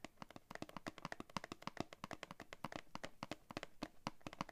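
Fingernails tap rapidly on the back of a thin, hollow-backed, flat printed paperboard backing card from a scissors blister pack, held in both hands. About 36 quick, dry taps each give a short papery click over a low, hollow knock that dies away almost instantly.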